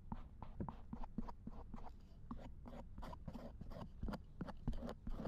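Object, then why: Silicone ear of a binaural dummy head microphone, scraped with a thin wooden ear pick. A thin wooden or bamboo ear pick scrapes repeatedly over the silicone ear of a binaural dummy head microphone lying in a lap. The result is a quiet, close-up run of short, crackly scratching strokes over a dull low rumble, each stroke with a brief bright edge and no ring-out.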